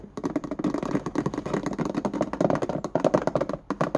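Fingernails rapidly tap and scratch across the ridges of the white ribbed plastic lid of a small hollow index card box held in both hands. The result is a dense run of short, dry, hollow clicks with a mid-pitched plastic tone and a scratchy texture between the taps.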